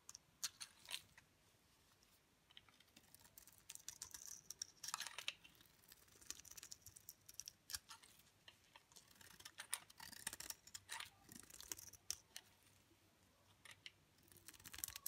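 A utility knife blade shaves thick flakes off a solid, dry olive green bar soap held in the hand. Quick, crisp scraping and crackling bursts sound bright and dry, with almost no low end. Each one stops short, with brief quiet pauses between strokes.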